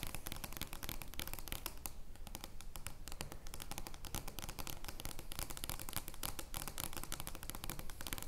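Long nails scratch across an oversized joker playing card made of thin card stock, lying flat on a wooden table. The result is a dense, continuous stream of quick, dry scratches and bright crackling clicks with a low, steady rumble underneath, holding an even level throughout.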